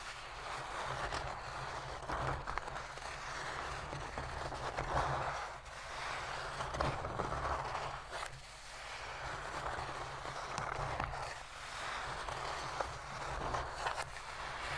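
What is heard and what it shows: Long pink pointed fingernails of both hands scratch the flat inner bottom of an empty, shallow white cardboard box lid lying open on a blue surface. A steady, dry midrange rasp rises and falls in repeated strokes, with a few sharper clicks over a faint low hum.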